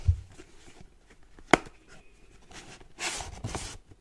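Painted nails tap the face and top of a white printed cardboard charger box held in both hands, giving two short, dry taps, a soft dull one and then a sharper click. A brief burst of hissy, scratchy rustling on the cardboard follows near the end.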